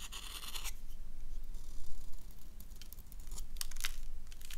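A solid black bar of soap held in the hand is scraped and carved with a gold knife blade that curls off white soap shavings. Dry, bright scratching and tearing rasps come in bursts over a steady low hum, with short crisp scrapes toward the end.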